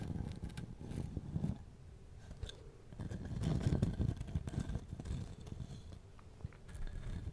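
Fingernails scratch and tap the bark surface of a solid-looking, hand-sized wooden log section with bark, which is moved from one side of the microphone to the other. The result is a dense, irregular run of dry, crackly scrapes and quick soft taps with a heavy low rumble. The sound swells in the middle and eases back toward the end.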